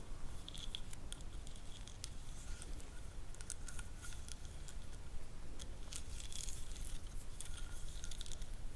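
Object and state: Wooden ridged massage roller.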